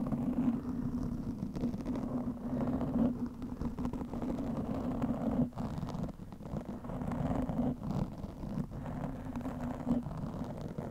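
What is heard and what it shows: Long manicured fingernails of both hands scratch a large, soft, porous black foam windscreen covering a microphone. The result is a dense, continuous muffled scratching and rustling, heavy in the lows and low mids with a steady droning tone underneath, broken only by a few brief dips.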